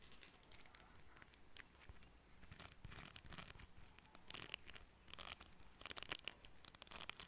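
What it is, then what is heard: Plastic comb. A small, solid cream plastic hair comb with fine teeth is held in both hands while fingertips and nails strum and scratch along its teeth. The result is a quiet, dense run of bright, crackly ticks and raspy scratching bursts, with no ring after each stroke, over a faint low rumble.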